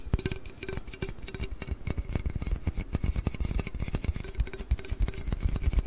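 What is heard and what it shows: A large, hollow aluminium Red Bull can is held horizontally close to the microphone and tapped and scratched with fingers and nails. It makes a rapid, uneven run of dull, bassy thumps with short, dry decays, a faint hollow tone, and light, bright scratchy clicks on top.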